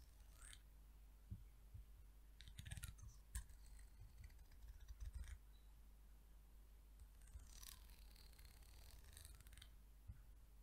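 Long nails and fingertips run across and flick the fine wooden teeth of a large, curved, solid peach wood comb held up close. Quiet, bright raspy scratching comes in bursts with a few sharp clicky flicks, over a steady low hum.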